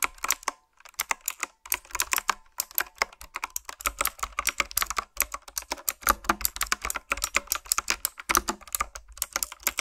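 Fingertips type steadily on a retro typewriter-style keyboard with round black plastic keycaps, producing a fast stream of short, bright, clicky key strikes. Each keystroke snaps off almost instantly with very little low end, leaving a crisp, rapid patter with a few brief pauses.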